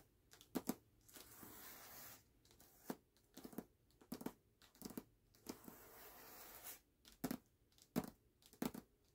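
Fingertips and short nails tap and scratch the glossy paper dust jacket of a medium hardcover book, "Gallant," lying flat and closed on a black cloth. Quick, dry taps come in irregular clusters, broken by two longer stretches of soft, hissy scratching across the paper. The overall level is quiet and close.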